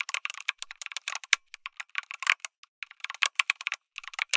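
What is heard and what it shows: Fingertips type on a lit mechanical keyboard with an aluminum case and plastic keycaps. About two dozen quick, bright, clacking keystrokes come in uneven bursts with short pauses, each click dying away almost instantly with no low-end thump.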